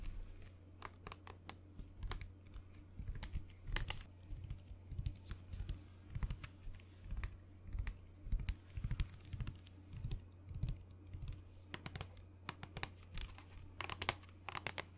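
A mid-size white plastic lotion bottle with a blue cap, hollow and apparently filled, is held in the hand and tapped and scratched with long nails close to the microphone. Rapid, irregular sharp clicks and brief scratchy strokes come in clusters over a steady low hum. Each tap is short and dry, with almost no ring.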